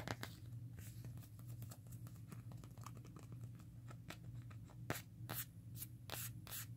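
Long nails tap and scratch the printed back of a hand-sized smartphone in a black plastic case printed with "Hakuna Matata." Quick, dry clicks and short scratchy strokes come in irregular bursts over a steady low hum around 105 Hz.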